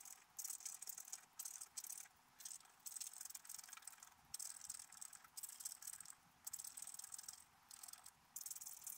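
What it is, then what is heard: Scratch-art paper card being scratched. A wooden stylus scratches and rubs the coating of a black-coated scratch-art paper card held flat. The result is a series of bright, hissing scratching bursts separated by short pauses, with almost no low end.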